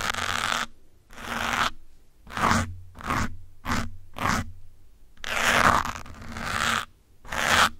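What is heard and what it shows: A bundle of metal pins held by the fingertips scratches the side and top of a porous grey foam windscreen on a black microphone. The result is a series of separate, bright, rough scratching bursts with short gaps between them, over a faint low hum.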